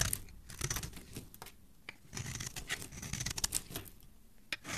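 A metal knife blade carves into the edge of a white solid soap bar held in a hand with dark-painted nails, scraping and shaving it. Repeated crisp, papery scraping strokes give a bright hiss, with soft low thumps underneath and short quiet gaps between bursts.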